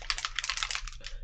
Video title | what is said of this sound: Good Nuf Painting Live tuesday paint and chill | so when you hear me shake these bottles you can actually hear a little agitator in there